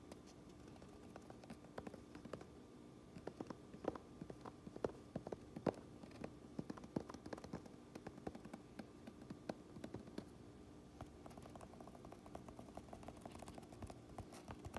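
Long nails tap and scratch the brim and embroidered mountain patch of a black cotton baseball cap lying on a counter. The result is a steady stream of quiet, dull, short taps with soft scratching in between.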